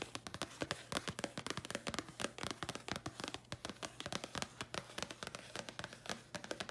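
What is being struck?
Thin printed paper card.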